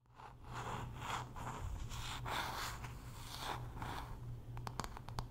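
Long nails scratch across the solid wood back and handle of a hand-sized wooden paddle hairbrush with pin bristles, making a run of dry, rasping strokes over a steady low hum. Near the end, the scratching gives way to a few sharp, bright taps on the wood.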